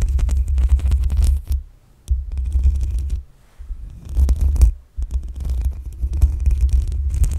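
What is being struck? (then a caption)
Metal mesh microphone grille. Long acrylic nails scratch and tap the black metal mesh grille on the hollow head of a desktop USB condenser microphone. The result is dense, deep rumbling scrapes with a heavy low throb and faint crackly texture above it. These come in bursts, separated by brief near-silent pauses.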